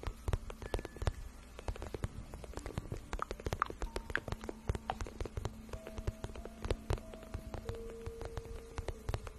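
Long acrylic nails scratch and tap a glossy pink patent vinyl (faux-leather) boot shaft, soft and hollow, held in both hands. Rapid, dry clicks and taps patter over a low, muffled rumble with soft brushing scratches in between. A few faint tonal hums drift underneath.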